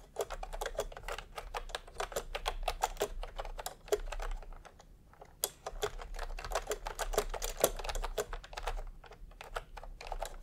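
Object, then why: Plastic keyboard with round keycaps. Bare fingertips of both hands type fast, repeated key presses on a full-size pastel plastic retro keyboard with round plastic typewriter-style keycaps, resting on white fabric. The result is a dense stream of short, crisp plastic clicks and clacks over a faint steady low rumble, with a brief pause around the five-second mark before the typing resumes.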